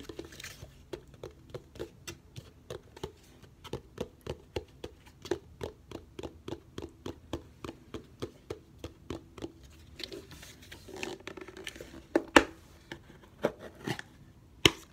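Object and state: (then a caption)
Plastic food container with loose granules. A medium round clear plastic food storage container with a light blue lid, partly filled with small loose granules, is held in both hands and tapped with fingertips and short nails on its base and sides. Rapid, dry, bright clicks sound with a hollow, low-mid body and almost no ring. Between taps the container is tilted or shaken so the granules patter softly, and a few sharper, louder taps come near the end.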